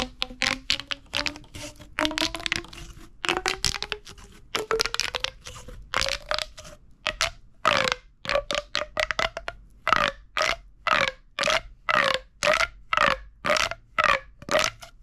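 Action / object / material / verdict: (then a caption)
scrape / corrugated plastic pop tube toy / plastic / none. A hollow purple corrugated plastic pop tube is squeezed and crunched in the fist with the fingertips. Dense bursts of bright, crackling pops come first with a faint rising tone under them. These give way to short, evenly spaced crunches at about two per second.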